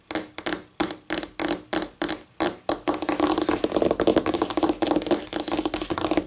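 Long painted nails tap with both hands on a flat, solid white laminate tabletop. A slow run of separate, crisp clicks with a short ring and a faint tone near 316 Hz breaks at about three seconds into a fast, dense flurry of bright clicky taps.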